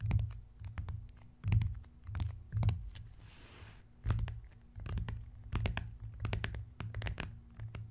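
Fingertips tap and scratch across the cover of a closed brown floral-embossed leather-look notebook. Soft, dull, low thuds come in an uneven rhythm, with a brief breathy scratch partway through. The taps die away almost instantly, leaving a quiet, muffled patter.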